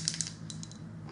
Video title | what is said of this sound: Younique Makeup- NEW concealer, foundation, Twisted Mascara | You hear the little roller ball.